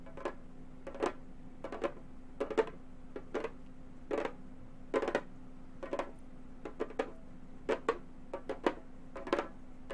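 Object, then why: Frame drum with a synthetic head. A round, hollow Remo frame drum with a synthetic head is tapped with long gold metal finger claws. The result is quiet, sharp, clicky taps with a short hollow thump and almost no ring, falling in an irregular rhythm of single hits and quick clusters. A faint steady hum runs underneath throughout.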